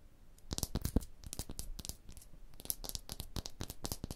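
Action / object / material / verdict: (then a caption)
scrape / rough stone block wall / stone / none. Long blue nails scratch along the ridges of a rough, porous, striated stone block wall. A rapid series of dry, raspy scrapes and light taps is heard, each with a bright, hissy edge and a soft low thump. The sounds die away almost instantly.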